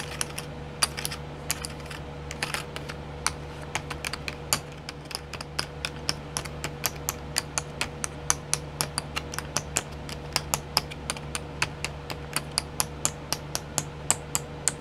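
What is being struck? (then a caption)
Small clear plastic pots of sequins in a tray. Long nails tap on the lids of a set of twelve small round clear plastic pots filled with sequins, sitting in a pink tray. The result is a fast, steady stream of sharp, bright plastic clicks with very short ring, over a faint low steady hum and a thin tone just under 500 Hz.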